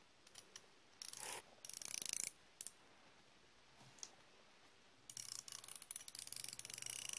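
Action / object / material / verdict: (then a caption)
scrape / steel ratchet wrench / steel / none. A solid chrome steel flex-head ratchet wrench is held in the hand with a second steel wrench engaged in its head and cranked back and forth. It gives bursts of rapid, bright, dry pawl clicks with quiet pauses between them. A long run of clicking closes the clip.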